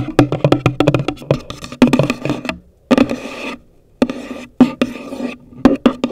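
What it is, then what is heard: Cardboard box tapped with fingernails. Long nails tap quickly on the top of a hollow, pale green cardboard gift box, making dry, clicky taps with a low, hollow thump that dies away almost at once. Bursts of rapid tapping alternate with brief stretches of softer scratchy rubbing and short pauses.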